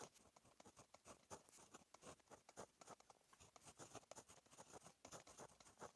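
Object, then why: Ballpoint pen on a paper notebook page. A blue plastic Monami 153 ballpoint pen, held in the fingers, writes Korean script on a lined page of a Rhetorica paperback notebook, its tip scratching across the flat paper laid on a solid backing. It makes a quiet, steady patter of short, dry strokes with bright, scratchy edges and almost no low end. Each stroke stops dead with no ring.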